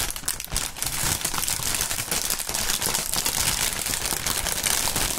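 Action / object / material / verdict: scrape / polyethylene air-pillow packaging film / plastic film / none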